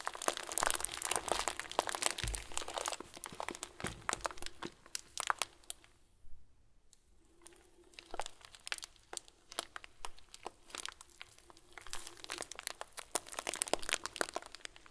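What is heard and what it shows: A hand-sized clear plastic bag full of small white plastic pearls is squeezed between both hands, giving dense, bright crinkling and crunching with rapid tiny clicks of the beads shifting. The rustling thins to a near-quiet pause in the middle, then builds back into busy crinkles and crunches.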